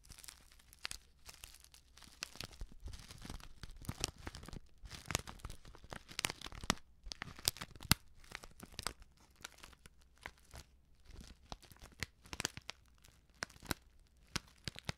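Long nails crinkle and scratch a flat, sealed plastic instant soup sachet filled with dry contents. Quiet, bright, crackly rustles and sharp scratchy clicks come in dense, uneven bursts. Each one stops dead with no ring.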